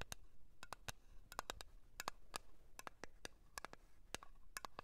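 Long nails tap and scratch the lid and rim of a small round blue metal Nivea cream tin held in the hand. The result is a quiet, irregular run of sharp, bright clicks with a faint metallic ping near 1.1 kHz that dies away almost at once, over a soft scratchy background.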